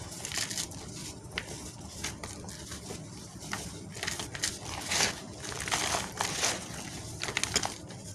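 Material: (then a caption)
Cement. Bare fingertips and palms crush and rub apart crumbly lumps of dry grey cement in a teal plastic basin of loose cement powder with a few paper bag scraps mixed in. Bright, gritty crunches and crackles come in irregular bursts over a steady, dusty rustle, with each crunch dying away almost at once.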